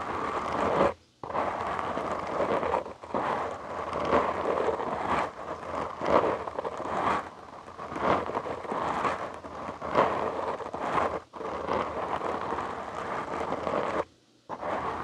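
Fingertips and short nails of both hands scratch a black foam windscreen on a large microphone, producing a dense, continuous scratchy rustle with a midrange emphasis. The scratching comes in uneven waves of loudness, broken by brief full pauses near the start and near the end.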